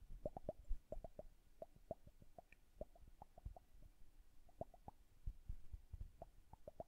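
Long nails tap the upper bulb of a liquid-filled glass bubble hourglass while it is turned upright. They make a quiet, irregular series of short, dull, plopping taps that die away almost at once, with a soft low rumble underneath.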